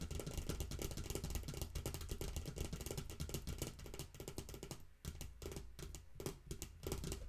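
Long nails rapidly tap and scratch the shiny surface of a small, hollow, empty yellow plastic toy rain boot with a black sole, standing on a pink pouch. Fast, uneven clicky taps and bright scratching run continuously over a steady low rumble, briefly dipping near the five-second mark before resuming.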